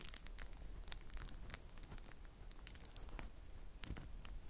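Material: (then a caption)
Plastic. Clear plastic bubble wrap is wrung in the fists, then spread flat between the fingertips, crinkling and popping. Quiet, dry, bright crackles and sharp pops are scattered over a low, steady rumble, with a few louder snaps near the start and end.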